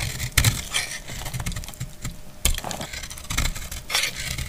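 A metal utility blade cuts into a solid, dried brown household soap bar held in the hand. It makes dry, crisp scraping and crunching with bright, brittle crackles and a low rumble underneath. Two sharper snaps stand out as pieces break off.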